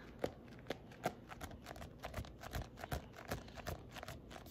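A paperback copy of "Simple Baby-Led Weaning" with a glossy card cover and a solid body is tapped rapidly with fingernails. The result is a quick, uneven run of short, dry clicks and taps with a woody midrange tone around 500 Hz. A little low thump sits under each tap, and there is no ring after it.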